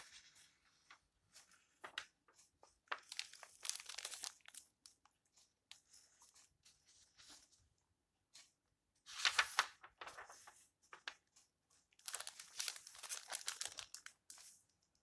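A hand turns a page of an open old book with yellowed paper and flattens it with the fingertips. Quiet, dry rustles and crinkles come in short scattered bursts, with longer swells of crisp paper sweeping around 9 to 10 seconds and 12 to 14 seconds. The sound is bright and papery with almost no low end.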